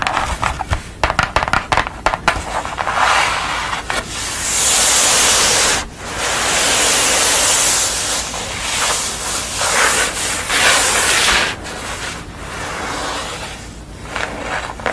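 Long nails tap and scratch across a blue-face pastel drawing on brown card lying on a towel. The clip opens with quick, irregular crisp taps, then moves into long, bright, hissing scratches that swell and fade across the surface, with lighter taps and rubs in between.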